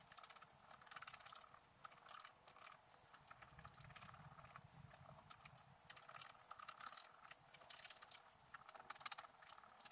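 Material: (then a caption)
Coated paper. A wooden stylus scratches the coating of a scratch art sheet on a table, near its lower right corner. Quick, dry, bright scratching strokes follow one another in dense bursts, mostly high in tone with little low end, and each stroke stops almost instantly.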